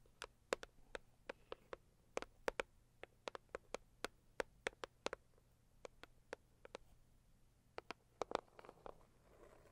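Long purple acrylic nails tap and scratch the lid of a medium-size, hollow, pink floral Saviland rigid cardboard gift box. About thirty quiet, sharp, dry clicks with a hollow body near 490 Hz sound in quick, uneven bursts. A soft, bright scratching rustle follows toward the end.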